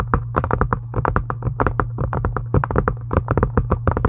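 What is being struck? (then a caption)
Faux leather journal cover. Long acrylic nails tap fast on a solid, pink, embossed faux-leather journal cover. It's a rapid, uneven run of short, dry clicks that stop at once with no ring, over a steady low hum.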